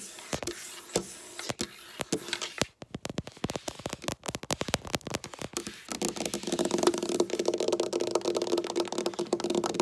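Long black nails tap and scratch a flat, solid dark wood tabletop. Quick, sharp clicky taps come in uneven bursts for the first half, then give way to a denser, continuous scratching rasp with a faint steady tone around 350 Hz.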